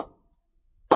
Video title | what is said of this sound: 🔥 SS Original Player Bats 2026 Unboxing - T20 World Cup Limited Edition Bats - Box #4 🔥 | I can see the pressing is amazing. And you will see that you will hear that when I ping it.